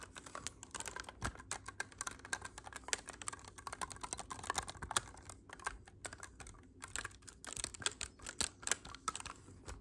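Fingertips rapidly tap the silver metal keys and hollow body of a black clarinet tilted forward, producing a dense stream of short, dry, bright clicks much like fast typing on a keyboard. The taps come in quick irregular bursts with tiny pauses, each dying away almost instantly.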